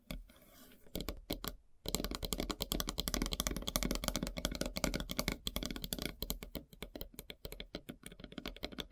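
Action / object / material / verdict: tap / wooden log slice board tapped with metal nails / wood / none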